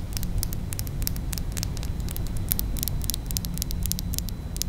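A small pink glass perfume bottle with a faceted cap is held upright while long pointed nails tap and scratch its flat glass sides. Rapid, irregular bright clicks patter over a steady low hum and rumble. The taps blur together too closely to count.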